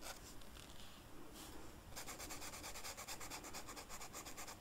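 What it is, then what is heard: Velvet-flocked paper being colored. The felt tip of a blue marker is rubbed across a flat black velvet-flocked paper sheet while coloring a flower. Soft, breathy brushing strokes give way after about two seconds to quicker, steadier back-and-forth scrubbing with a bright, hissy texture over a low, dull rumble.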